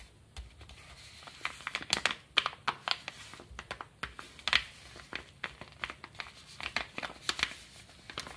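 Fingertips and short nails scratch and tap the surface of a small brown kraft paper bubble mailer with a stamp and stickers, lying flat. An irregular series of crisp, dry scratches and crinkly taps sounds bright and papery with almost no low end. Each one stops abruptly over a faint background hiss.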